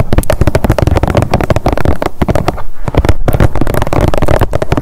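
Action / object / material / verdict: tap / plastic squeeze tube / plastic / none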